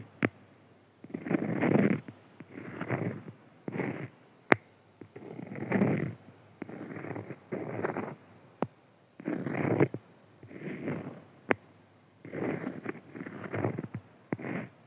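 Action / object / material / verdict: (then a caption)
scrape / beeswax-coated cotton food wrap / waxed cotton / none. Fingertips and short nails of both hands scratch and rub the surface of a palm-sized square of printed cotton fabric coated with beeswax, a food wrap lying on a white table. Bursts of soft, waxy, crinkly scratching come in uneven rounds, broken by quiet gaps and a few sharp, quick clicks.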